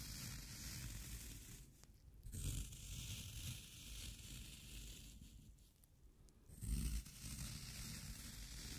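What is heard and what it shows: A yellow-handled metal scraper digs into the pitted top of a round, solid, wet green floral foam cylinder, crushing it. The result is a steady, soft, low crunching and scraping rustle with a bright fizzy texture, swelling into louder crushes around 2.5 and 6.8 seconds.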